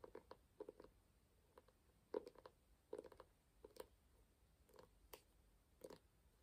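A small, ornate, closed hardcover book with a burgundy and gold embossed cover is held in both hands and tapped on its solid front cover with fingertips and nails. The result is a quiet, irregular series of short, dry, muted taps centered in the midrange, with occasional brighter nail clicks. Each tap dies away almost instantly.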